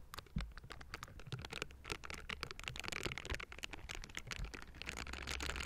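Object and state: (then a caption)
Metal microphone grille being scratched. The hollow metal mesh grille of a Blue Yeti microphone is scratched with the bristles of pink silicone scrubbing gloves, with hands on both sides. Quick, dense bristly scratches and patters crackle brightly and close up, over a steady low hum underneath.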